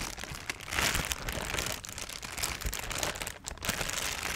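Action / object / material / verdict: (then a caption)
scrape / thin clear plastic bag / plastic / none. A thin, transparent, empty plastic bag is stretched out, then crumpled and crinkled by hand. The result is a dense, continuous bright crinkle with sharp crackling snaps throughout and a brief lull just before the end.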